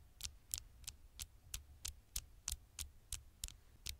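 Fingertips and long nails tap quickly on the flat glass screen of a dark smartphone held close to the microphone. Twelve short, crisp taps come at a fast, slightly uneven pace, each a bright click with a soft low thump beneath it that stops almost instantly.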